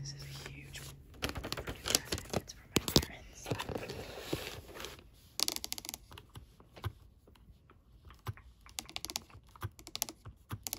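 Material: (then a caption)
Plastic. A white and black PS5 DualSense controller, with a hard, hollow, hand-sized plastic shell, lies on wrapping paper. Long glittery acrylic nails tap and scratch its touchpad and buttons. The result is rapid, uneven bursts of sharp plastic clicks and scratchy rustling, with a brief low hum at the start.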